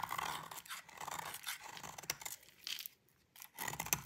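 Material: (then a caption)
Soap. A utility knife blade scrapes curled flakes off a solid white bar of dry soap held by fingers with long pink nails. The result is a series of dry, crisp, bright crunching and scraping strokes, with a brief near-silent pause just before the final burst of scraping.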